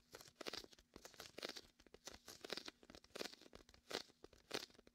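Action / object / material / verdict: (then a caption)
scrape / inflated vinyl beach ball / vinyl / none. A hand rests on top of a large red and white hollow inflated vinyl beach ball while the fingertips press and peel the sticky vinyl. It makes quiet, bright, crunchy crackles and tearing sounds in repeated short bursts with almost no low end.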